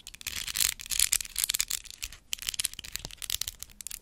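A large hollow white plastic skeleton spider prop is held up and tapped with long acrylic nails. Rapid, crisp tapping and light scratchy rubbing sound almost entirely in the high, bright range, with very little low end. Each click dies away almost instantly.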